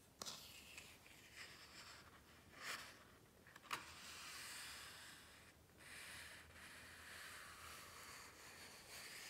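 Hands rub along the page edges and glossy page surfaces of a large open hardcover book. The result is a quiet, bright, hissy swishing of paper that rises and falls, broken by a few sharper papery ticks.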